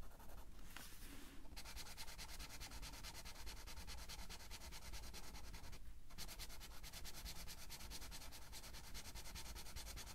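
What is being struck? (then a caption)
Felt-tip marker on a paper coloring book page. A blue felt-tip marker is rubbed back and forth over the page of an open paper coloring book lying flat on a table, while the other hand holds the page. The result is a steady, rapid, scratchy rubbing with bright, fine-grained friction over a low background hum, easing briefly near the start and again around six seconds before resuming.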